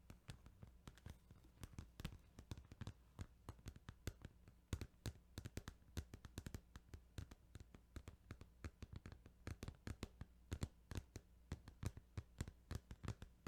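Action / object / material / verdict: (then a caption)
tap / plastic video game case / plastic / none. Fingers tap on a plastic Final Fantasy 8 video game case in a quick, irregular run of short, dry clicks that die away almost at once. The taps are soft, each with a brief bright edge, over a steady low hum.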